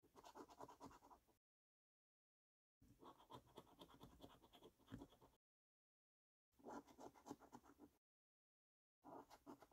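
A coin scratches the latex coating off the maze panels of a thin-card Diamond Maze scratchcard resting on a dark table. Four bursts of quick, gritty scraping strokes, with a dry rasp centred in the mids and faint bright edges, are separated by full silences, and the last burst is cut off at the end.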